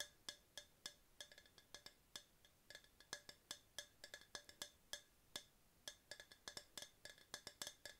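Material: Hard plastic.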